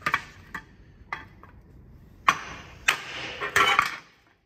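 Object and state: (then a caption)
Hammer taps on thin sheet-steel car body panel. A steel-headed hammer with a wooden handle taps a damaged, crumpled, thin sheet-steel car body panel with bare metal patches, held by hand, likely against a steel dolly behind it, to reshape it. Seven sharp, bright metallic taps ring out at irregular intervals, with a clanging tone around 1.1 kHz. The later blows are louder and leave a brief ringing shimmer before fading into quiet.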